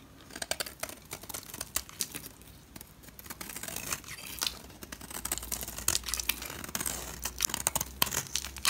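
A utility knife blade scrapes and carves curly shavings off the edge of a solid green bar soap held in hand. The sound is a dense run of crisp, bright, crackling scrapes and short tearing bursts with almost no low end, growing louder and busier toward the end.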